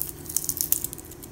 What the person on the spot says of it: if you shake it, you can hear that little noise in there. That's because that's actually where the pupa is inside of this extra little cocoon structure.